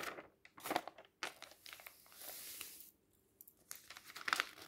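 A flat hand rubs across a page of a printed paper magazine lying open on a table, then the fingertips lift and turn the pages. Dry, crisp rustling and crinkling rises and falls with the hand's movement. A sustained brushing swell falls to near silence before one last sharp, bright page flick.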